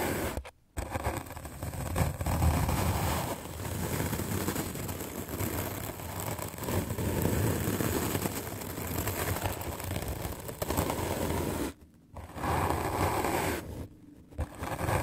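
A white rectangular magic eraser block of solid melamine foam is held in the hand and scrubbed aggressively with a medium black-bristle paint brush. The result is a dense, continuous scratchy brushing with a heavy low rumble, broken by brief silences near the start and again around 12 and 14 seconds.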